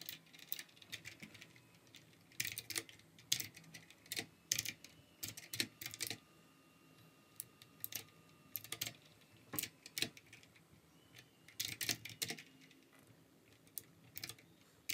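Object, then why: Plastic mechanical keyboard. A plastic RGB mechanical keyboard is typed on with the fingertips of both hands, giving bursts of sharp, bright key clicks separated by short pauses. The strokes are dry and short with almost no low end.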